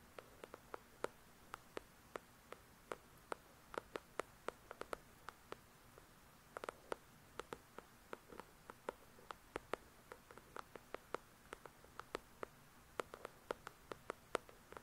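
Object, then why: Paperback book with card cover. Long pointed nails tap quickly, close up, on the glossy card cover of the paperback novel "The Shack," a solid block of paper. About fifty sharp, dry clicks come in irregular bursts, each dying away almost instantly, with a hollow tone around 470 Hz and a bright tick. A faint, steady hiss sits underneath at a low overall level.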